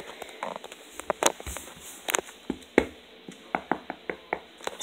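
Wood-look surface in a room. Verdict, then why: Fake. A hand knocks on an imitation wood surface that sounds like wood but is not. About 13 short, dry taps and knocks come at an uneven pace, each dying away almost at once.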